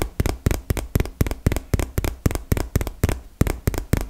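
A small, hollow, printed cardboard retail box held close to the mic is tapped rapidly with long fingernails. Sixteen quick, dry taps come in a loose, uneven rhythm, each a hollow low thump with a short, bright click that dies away almost at once.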